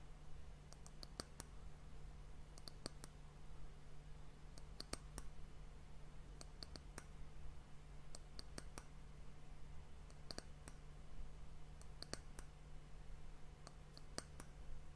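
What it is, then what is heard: Wooden hourglass end cap tapped with nails. Long nails tap the top of a round, solid, varnished brown wooden disc that forms the end cap of an hourglass. The result is short, dry, bright clicks that come in loose, irregular clusters over a steady low hum.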